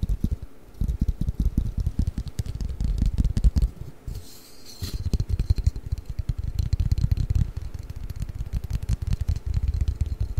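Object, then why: Long flat cardboard game box. A long, flat, hollow cardboard Mikado pick-up sticks box is held above the microphone and tapped rapidly with fingertips and nails. The result is a dense, steady stream of short, dull, low thuds with almost no ring, broken by a brief lull around the middle where a faint high hiss comes through before the tapping resumes.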